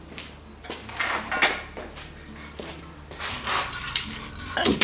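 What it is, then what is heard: LPG gas bottle with liquid gas still inside. A metal LPG gas bottle with liquid gas inside is picked up and shaken in a slosh test. Bursts of bright liquid sloshing swell and fade, mixed with occasional light metallic knocks. The slosh is a normal sign that liquid gas remains in the bottle and gives a rough idea of how much is left, though the test is not pinpoint accurate.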